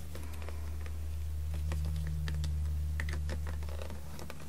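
Long red-painted nails tap and scratch the ribbed side of a small blue PET plastic water bottle with a blue cap and a label, lying on a carpet and mostly empty or only partly filled. Quick, fairly regular light clicks and scratches with bright edges sound over a steady low hum that stays constant throughout.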